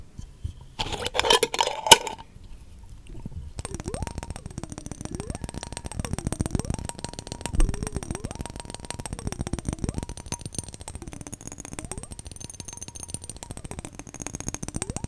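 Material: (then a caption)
Glass. A clear, hollow glass mason jar partly filled with glowing liquid is held in both hands while fingertips and nails tap rapidly on the glass. A dense run of bright, ringing clinks starts with a brief louder burst. Through the rest of the clip, a tone repeatedly glides between about 300 Hz and 900 Hz.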